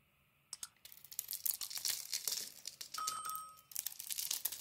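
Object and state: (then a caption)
Bar of soap being carved. A solid, hand-sized bar of soap with a green coating is held in the hand and carved and shaved with a metal utility-knife blade, with shavings falling away. After a brief quiet start, a dense run of bright, crisp scraping and cutting strokes crackles and crunches, with a thin squealing tone midway through one long stroke.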